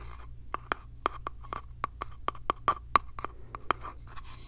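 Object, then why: Small light-wood box. A small hollow light-wood box with a metal hinge is held in the hands while nails scratch and tap its sides and edges. Rapid, dry wooden taps land in an irregular run of about fourteen distinct hits, each ringing briefly with a hollow mid-pitched tone over soft scratching and a low steady hum.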